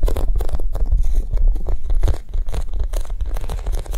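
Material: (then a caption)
Foam. A Japanese cheesecake squishy, a soft foam toy, is tapped quickly and gently, producing a steady stream of soft, dull, low thuds with a faint crinkly texture. The tapping keeps an even pace and dips slightly in loudness partway through, with no ringing after each touch.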